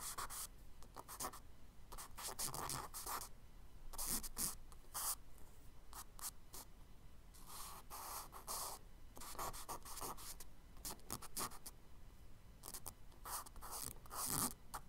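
A charcoal stick scratches short tree-branch strokes onto the solid surface of a tan kraft paper page in a spiral sketchbook. Quick, dry, bright scratching bursts come in clusters with brief pauses between them, all at a quiet, steady level.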